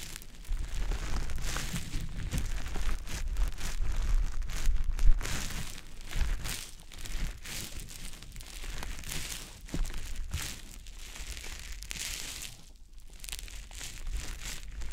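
A small, soft, porous, damp green teardrop-shaped konjac sponge puff is held in fingers and rubbed over the silicone ear of a dummy-head microphone. It makes close, continuous wet squishing and crinkly rustling with bright hiss and a low rumble. The sound is louder for the first five seconds, then eases into quieter, uneven rubbing.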